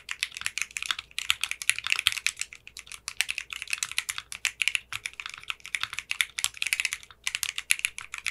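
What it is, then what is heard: Mechanical keyboard typing. Fingertips with short manicured nails type steadily on a 60% mechanical keyboard with clear pink polycarbonate keycaps. The keystrokes sound crisp, bright and clacky, with very short decays and almost no low end. They come in quick bursts with brief pauses near one second and seven seconds.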